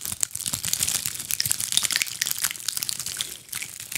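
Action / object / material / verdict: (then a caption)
scrape / ball of small dried pine cones / pine cone / none. Long acrylic nails scratch over a fist-sized ball of small dried pine cones held in both hands. The result is a dense, steady run of crisp, bright crackles and dry scratching clicks, almost entirely high-pitched with very little low end.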